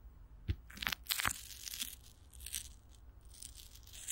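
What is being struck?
Plastic film stretched over a microphone grille.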